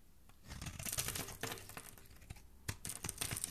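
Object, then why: Bar of soap scraped with a thin metal blade. A thin metal blade scrapes and carves a hand-held rectangular bar of purple soap with an embossed logo, shaving off curls and powder. Bright, crisp, crackly rasps come in uneven bursts, rising and fading, with a sharp scrape near the end.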